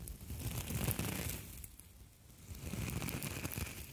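Two identical palm-sized, hollow, springy copper wire mesh scouring pads, one in each hand, are squeezed, crinkled and scratched with fingertips and long nails. The result is a dense, continuous crinkling and scratching with a heavy low rustle and faint bright crackle. It is loud at first, drops quieter around the middle, then rises again.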